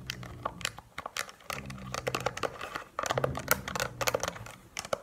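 Long painted nails tap rapidly across the rubbery keys and plastic body of a handheld Casio scientific calculator. The result is a dense, irregular run of short, dry clicks and ticks with a bright edge over a faint low hum.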